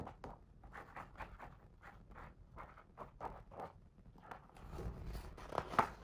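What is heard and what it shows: A fingertip traces the words across the paper page of a hardcover picture book, making a run of soft, short scratchy strokes. The strokes end in a louder, brighter rustle as a page is turned.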